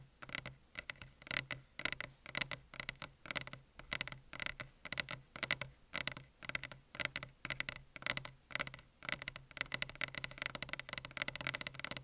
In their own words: 1:24 - tapping on desk